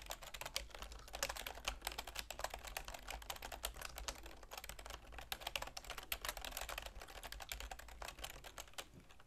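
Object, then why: Plastic computer keyboard. Continuous typing with long nails and fingertips on a full-size black plastic keyboard with a silver plastic frame. It makes a rapid, steady stream of bright, dry plastic clicks and taps that stop short, over a faint low hum.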